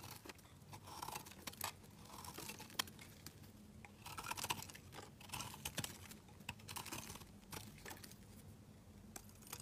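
A utility knife blade scrapes thick curls off the edge of a solid mint-green soap bar held in the hand. Quiet bursts of bright, crisp scraping and crunching repeat over a steady low hum, each stroke dying away almost instantly.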